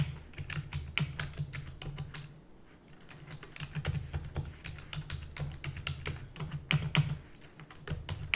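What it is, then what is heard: Plastic computer keyboard. Long natural nails and fingertips type rapidly on a full-size black plastic keyboard with hollow keys, making a fast run of sharp, bright clicking taps. The taps sit over a steady low hum, with short bursts and a brief quieter lull midway.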